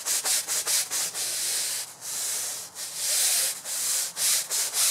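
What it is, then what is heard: Synthetic fiber rug being scrubbed. A long-handled bristle brush scrubs repeatedly across a large, wet, grey and red patterned synthetic fiber rug lying on a concrete floor. The result is bright, hissing scrub strokes, quick and choppy at first, then longer sweeping rubs. There is almost no low end.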